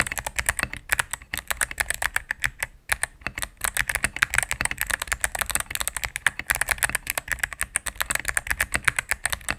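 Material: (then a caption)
Plastic. A cream full-size mechanical keyboard with plastic keycaps on a solid plastic case is typed on rapidly with fingertips and medium nails. It produces a fast, steady stream of short, crisp, bright clacks with very little low end, broken by a couple of brief pauses.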